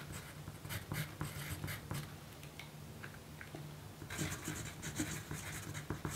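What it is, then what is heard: Pencil writing on a paper note. A yellow graphite pencil writes on a small pink paper note sheet resting on a dark table, with a magazine in a plastic sleeve lying untouched beside it. Quiet, scratchy pencil strokes rasp in short bursts with bright, hissy edges over a low hum. The writing grows denser and brighter near the end.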